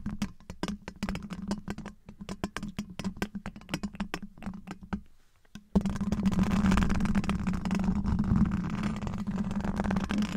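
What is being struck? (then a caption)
Steel wire-mesh microphone grille. Black rubber-gloved fingertips tap and scratch all over the large, hollow, domed steel wire-mesh grille of a microphone. The first half is a fast, uneven run of sharp, crisp taps over a steady low hum. After a brief quiet moment, a louder continuous rasping scratch fills the rest of the clip.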